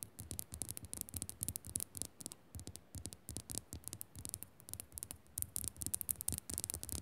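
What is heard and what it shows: Long nails scratch quickly and tap across the crystalline faces of a solid pink Himalayan rock-salt lamp. A rapid stream of short, bright, scratchy bursts rides over soft low thumps from the taps, each sound dying away almost instantly.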